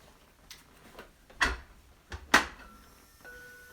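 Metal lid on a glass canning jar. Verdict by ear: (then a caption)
Sealed. Metal lids on glass jars of home-canned potatoes are tapped the morning after canning to check the seals. A series of short, sharp clicking taps is heard, two of them louder than the rest. None gives the empty sound of an unsealed lid, so all the jars have sealed.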